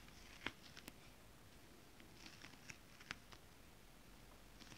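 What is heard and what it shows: Long nails and fingertips tap and scratch flat holographic mermaid scale fabric with a foil scale pattern. Quiet, sharp, bright clicks and short scratchy ticks come at irregular intervals over a soft, steady low hiss, each one dying away almost instantly.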